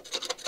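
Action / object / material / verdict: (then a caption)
tap / steel car body panel / steel / sound. A steel car body panel is probed at a spot expected to be rotten, giving three light, scratchy taps with a bright, brief sound concentrated in the upper frequencies. The metal turns out to be sound there, with only a small area damaged.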